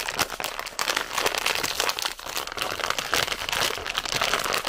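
A full red plastic bag of zefir is crinkled between the fingers and possibly torn open. The sound is a dense run of bright crackling and crinkling with many short, sharp bursts. It has almost no low end and stays steady over nearly five seconds.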